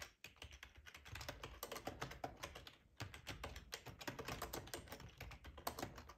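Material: Plastic.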